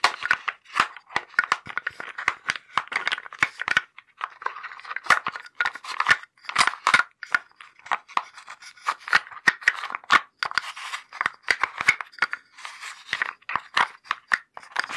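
Fingertips dig into and shuffle the wooden blocks inside a small light-wood box, producing a fast, continuous stream of dry wooden clicks and clacks. The knocks are short and bright, centered around 1.9 kHz, with almost no low end and very little ring after each contact.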